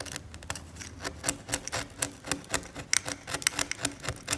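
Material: Varnish.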